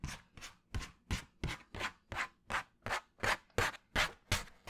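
A flat brown cardboard sheet held in front of the mic is scratched with fingernails. Fourteen separate rasping strokes come in a fairly steady rhythm, each a broadband scrape with a soft low thump, bright grainy texture, and a quick fade.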